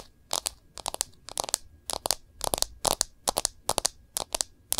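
Long nails tap and scratch the back of a smartphone in a clear plastic case. Crisp, bright clicking taps come in quick clusters separated by brief pauses, each dying away almost instantly with very little low end.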